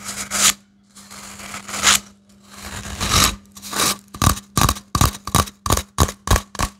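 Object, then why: Cardboard toilet-roll tube. A hollow grey cardboard toilet-roll tube is squeezed and scratched with fingertips and short nails, making a few swelling, papery scraping rustles. These are followed by a quick run of separate dry, hollow taps, each with a sharp bright edge and almost no ring. A faint steady low hum sits underneath throughout.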